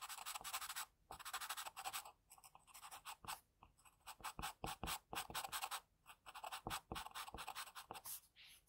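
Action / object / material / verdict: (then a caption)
scrape / graphite pencil on a paper sheet / graphite, paper / none. An HB wooden pencil held in the fingers scratches strokes of a portrait sketch onto a thin, flat sheet of white drawing paper lying on a desk. Dry, papery scratching comes in quick bursts of short and longer strokes, bright and hissy with almost no low end. Brief silent pauses fall between the strokes.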